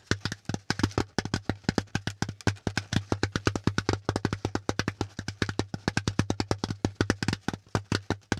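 Fingertips and nails tap quickly along the folded ridges of a brown, pleated corrugated cardboard packaging insert that is hollow and empty. About 58 short, dry, hollow taps follow one another in an uneven rhythm, each dying away almost at once. A steady low hum sits beneath them.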